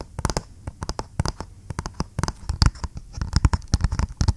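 Fingernails tap and scratch on a flat, hollow, printed cardboard retail box for G.Skill RAM memory held close to the mic. About two dozen quick, dry taps and scratchy strokes land in an uneven run, each with a dull, hollow low thump and a bright tick on top that dies away almost instantly.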